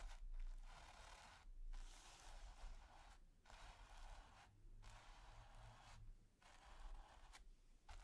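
A stiff natural-bristle brush is rubbed and scratched across a flat, taut, textured primed canvas in a series of dry, raspy strokes. Each stroke is a bright, hissy scrape separated by brief pauses, over a faint low rumble.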